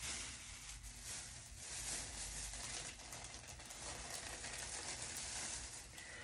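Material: Nothing is struck.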